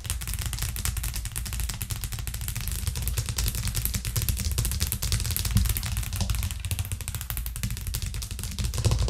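Long nails tap rapidly on a white plastic cutting board with green edges that rests flat on a cork trivet. The tapping is a dense, steady stream of quick clicks with a deep, hollow thud under each one and a bright clatter on top. It builds slightly louder toward the end.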